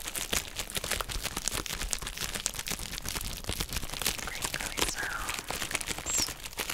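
A hand-sized, hollow, empty pink heart-shaped plastic bubble wrap mailer bag is held, squeezed and crinkled while long nails scratch and tap it. The result is a steady, dense stream of bright, crackly crinkles and quick sharp taps, with little low end.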